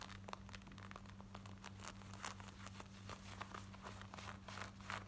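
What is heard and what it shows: Long nails scratch quickly over worn black denim jeans, moving across the front, the thighs and the back pocket area. The quiet, bright, rapid scratches come as short rasping bursts over a steady low hum.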